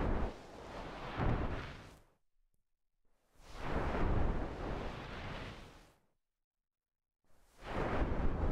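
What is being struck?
Nothing is struck.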